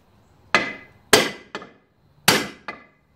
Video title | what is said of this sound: Stihl 028 Wood Boss Chainsaw Restoration Part 4 | it has a hollow sound when you hit it that means it's moving